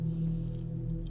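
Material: Nothing is struck.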